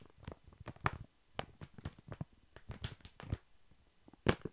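A large, full, soft pack of baby wipes wrapped in thin plastic film is held upright and tapped with long fingernails. The quiet, irregular taps sound like soft low thuds with brief crinkly, bright clicks from the film, and each tap dies away almost at once.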